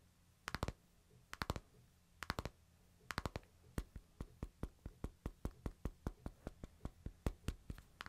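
Fingertips tap the glass screen of a hand-sized smartphone in a light plastic case resting in a palm. Four quick bursts of three tight taps give way to a steady run of single taps, each a short, dry, bright click over a faint low hum.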